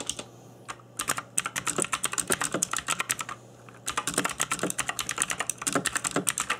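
Fingertips in black nitrile gloves type continuously on a cheap RGB-backlit mechanical keyboard with plastic keycaps on a hollow plastic case. Quick, bright, sharp key taps come in rapid bursts, with brief pauses near the start and around the middle, and each click dies away almost instantly.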